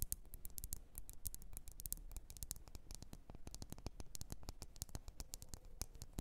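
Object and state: Glass candle jar.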